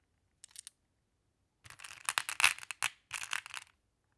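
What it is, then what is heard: Glass pebbles clacking together. Long blue-painted nails and fingertips scoop and sort a pile of small, solid, flat glass pebbles (blue, clear, amber and black) in a large wooden tray, letting them clack together. Three quick, bright clicks are followed by a pause, then a denser run of sharp, high-pitched glassy clattering that stops abruptly.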